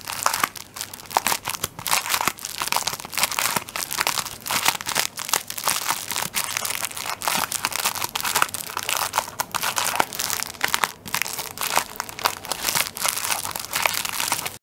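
Fingertips press and scratch the plastic film on the end of a plastic-wrapped tissue paper roll held at an angle. The result is dense, continuous crinkling and crackling, bright and high with almost no low end, made of rapid sharp bursts that barely ring over about fifteen seconds.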